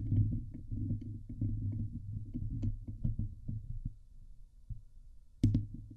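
Long nails scratch the hollow steel wire-mesh grille on the head of a Blue Yeti microphone, producing a dense, deep rumbling scrape with scattered brief clicks and crackles. The scratching softens midway, then a sharp, bright burst near the end leads into renewed low scraping.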